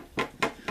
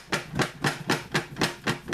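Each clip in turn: First: plastic game case, contents snug, no rattle. Second: plastic game case with loose contents.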